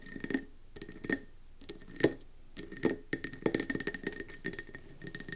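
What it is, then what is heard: Mercury glass candle jar. A round, gold-speckled mercury glass candle jar with a metallic rim and a gold wax top sits on a wooden table and is tapped quickly with long nails. Bursts of bright, glassy clicks and clinks come in uneven clusters, each dying away almost at once over a faint steady tone near 2 kHz.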